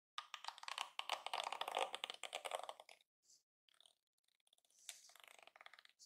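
Fingers and nails scratch and flick the plastic bristles of a yellow plastic detangling hairbrush lying on a counter. A dense, dry crackling rattle with a bright, papery edge fills the first three seconds, then breaks into a few sparse, soft ticks. A shorter burst of rapid scratchy flicking follows near the end, and the whole clip stays quiet with no low end.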